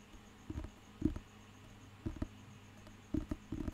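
Fingertips tap and scratch the glossy cover of a thick, solid paper dictionary book held in the hand. Soft, dull, low thumps and brushing scratches come in short, scattered clusters with almost no ring. A faint steady hum sits underneath.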